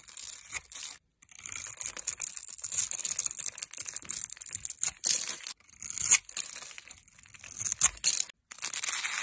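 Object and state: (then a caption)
Bar soap scraped with a blade. A metal utility blade scrapes across the scored surface of a solid oval bar of light blue soap with an embossed logo, held in the hand, flaking off small cubes. The sound is a bright, dry, crackling scrape made of rapid crisp crunches, broken by a few brief silences between strokes.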